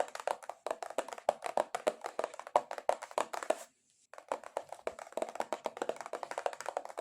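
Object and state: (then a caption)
Cardboard box. Long acrylic nails tap aggressively and rapidly on a cardboard box, producing a dense stream of dry, hollow clicks with a mid-range body around 600 Hz and bright edges. The taps die away almost instantly, with a brief pause near the middle before the fast tapping resumes.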